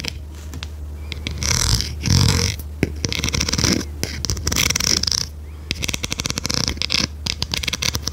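A large blue plastic pencil sharpener, turned on its side, is tapped and scratched along its edges with long red nails. Bright, hissy scratching comes in swells over a steady low hum, broken by sharp, short taps. It ends in a quick run of crisp clicking taps.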